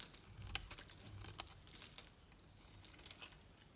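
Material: Soap.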